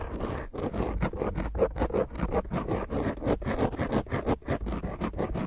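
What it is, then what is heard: Foam microphone windscreen. Long grey nails on both hands scratch rapidly and intensely across the top of a black dome foam microphone windscreen. The result is a dense, rough, continuous scraping with strong low rumble, a midrange rasp and almost no high-end brightness. Quick strokes repeat in an uneven rhythm throughout.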